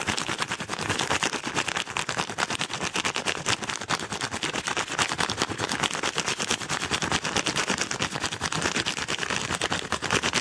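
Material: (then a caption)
Kraft paper. Fingernails scratch and crumple a yellow kraft paper padded mailer envelope very fast, making a dense, continuous stream of bright, papery scratches and rustles. The sound stays steady and busy for the full clip, with little low end.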